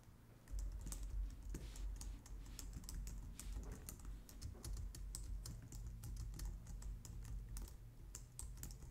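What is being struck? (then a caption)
Plastic computer keyboard. Both hands with long nails type steadily on the keys of a white plastic low-profile wireless keyboard. After a quiet first half-second, a continuous stream of short, bright plastic clicks and taps runs over a steady low hum until the end.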